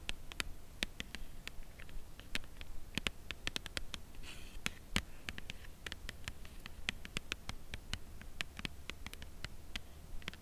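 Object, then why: Cardboard chocolate bar box. Long acrylic nails tap the corner and edge of a white Lindt Creation Crème Brûlée cardboard box holding a chocolate bar. Many quiet, sharp, bright clicks die away almost instantly over a steady low hum.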